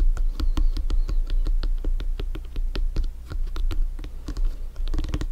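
A full-size inflated hollow soccer ball with stitched synthetic leather panels is held and tapped quickly on top with bare fingertips. The result is a steady run of soft, dull, low thumps with short bright clicks and a faint scratchy rub between them. It ends in a denser cluster of taps.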